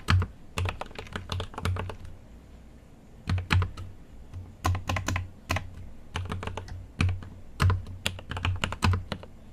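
Fingertips type on a GMMK Pro mechanical keyboard with an aluminum case and plastic keycaps. Quick bursts of sharp, clacky keystrokes carry a deep thocky low end and bright tops, separated by short pauses. Each keystroke dies away almost instantly.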